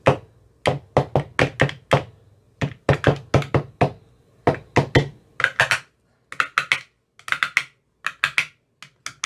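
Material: Plastic.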